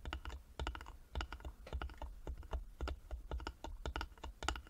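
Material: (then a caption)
Wood. Fingertips and nails tap rapidly on the sides of a small, closed, hollow carved wooden jewelry box with a metal medallion and clasp. The taps come in quick, uneven bursts, each a dull low knock with a bright click on top. They die away almost instantly with no ring.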